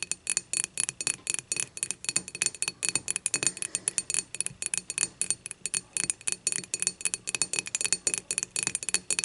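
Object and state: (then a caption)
Glass beer mug. Long matte nails tap and scratch the thick glass handle of an empty glass beer mug lying on its side. A rapid, steady stream of dozens of crisp, bright clinks and scratchy ticks comes through, each dying away almost instantly with almost no low end.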